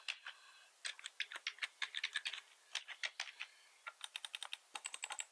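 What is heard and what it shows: Both hands type with their fingertips on a black plastic computer keyboard with red accent keys, tapping out 32 quick, bright clicks. The clicks come in irregular bursts with brief pauses between them. Each tap is short and dry, with no low rumble.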